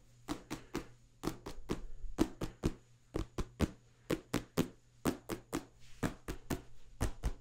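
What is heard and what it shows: Fingertips tap rapidly on the cover of a small, solid paperback book held flat in front of the mic. There are 23 short, dull, papery thuds, mostly in groups of three, with almost no ring. A faint low hum runs steadily underneath.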